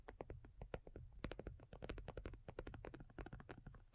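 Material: Faux leather.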